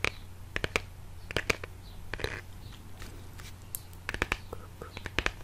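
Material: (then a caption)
Cardboard. A small, hollow, printed brown cardboard product box is held in one hand and slowly tapped and scratched with the fingertips and nails of the other. Short, dry, bright taps come in loose clusters with soft scratching between them, over a quiet, steady low hum.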